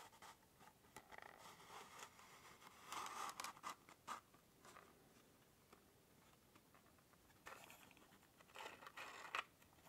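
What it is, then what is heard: Cardboard matchbox. A small, hollow cardboard matchbox is held in both hands in front of the face while fingertips slide and scratch along its paper-covered surface and inner tray. The result is soft, dry scratching and rustling in quick bursts, mostly in the mid and high range with almost no low end, growing louder around three to four seconds and again near the end.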